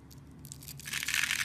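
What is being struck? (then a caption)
Bar of soap scraped by a small metal blade. A small metal blade scores and carves a solid, hand-sized blue and white striped soap bar held in fingers with long painted nails, flaking off small cubes. Dry, bright scraping crunches build from soft to louder, dense crackling toward the end.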